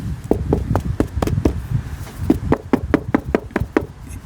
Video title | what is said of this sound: Watch our detailed process of a log home inspection. | then of course it's that Hollow sound ... this is what it sounds like with a a rotten hole